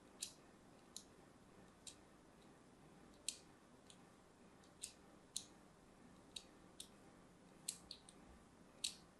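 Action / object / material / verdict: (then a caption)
scrape / solid bar soap / soap / none. A metal blade scores and scratches a pink-and-white striped solid bar of soap marked with crosshatch cuts. Thirteen short, crisp, bright scraping clicks stand apart over a quiet background hiss, each cutting off almost instantly.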